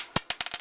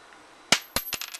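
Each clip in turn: First: zinc penny, flat dull sound. Second: copper penny, rings when dropped.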